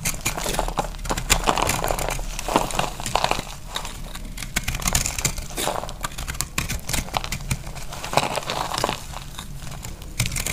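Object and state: Dry pressed soap, crumbling under a blade.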